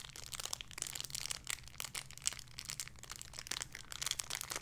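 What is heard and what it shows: A small clear plastic bag holding a soft pink pig squishy toy is crinkled and squeezed with fingertips and long red nails. Dense, bright crackling and crinkling comes in quick, sharp bursts with almost no ring, over a faint steady low hum.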